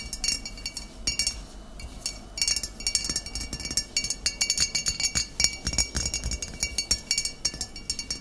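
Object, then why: Glass bottle of vinegar. Long nails tap the glass shoulder of a full, upright glass bottle of cider vinegar. Rapid, irregular bright clinks follow one another over a faint background hiss. Each tap rings only briefly, with a high, glassy tone.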